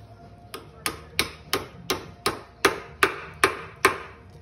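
A small hammer taps a new bushing into the steel A-arm of a 2014 Polaris Sportsman 850XP ATV during a normal bushing replacement. Ten short, sharp metallic taps come at a steady pace, and the last few grow louder and brighter. The tap sound changes once the bushing seats fully.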